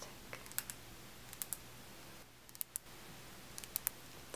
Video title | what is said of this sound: Hanging out w/ great sounds! (ASMR softly spoken and nail tapping) | it's like a really hard plastic it's good for tapping sounds